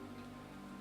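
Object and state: Nothing is struck.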